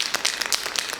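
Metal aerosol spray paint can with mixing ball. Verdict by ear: Loose.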